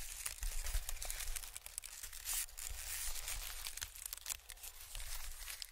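A large, thin sheet of white expanded honeycomb-cut packing paper is held in both hands while the fingertips stretch and crinkle it. A steady run of dense, bright crackling and tearing-like rustles fills the clip, with many quick small snaps over a soft low rumble.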